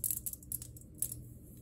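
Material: Glass.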